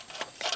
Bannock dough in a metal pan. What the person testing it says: whenever you shake it like this and you can hear it um kind of scratching a bit